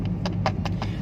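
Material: Plastic.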